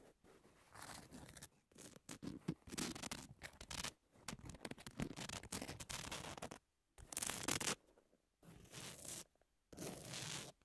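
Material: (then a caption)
Emery board. Long nails scratch the gritty surface of a long, thin, flat emery nail file with pink edges, lying flat and solid. Bursts of bright, dry rasping scratches come in short runs separated by brief pauses.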